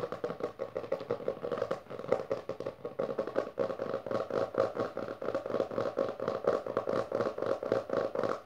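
Long dark nails on both hands rapidly tap and scratch the textured, cloth-covered board cover of a closed maroon hardcover book resting on purple fabric. The result is a fast, dense stream of dry clicks and scratchy rasps, centered in the midrange with almost no low end.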